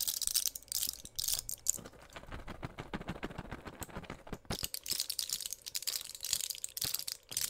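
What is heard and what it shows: A small, flat pill blister pack of clear plastic bubbles on an aluminium foil backing, filled with white pills, is held in both hands and pressed, crinkled and tapped with long pink nails. Bright, hissy crinkling bursts alternate with quick runs of sharp, dry clicks and taps that stop instantly, with no ring.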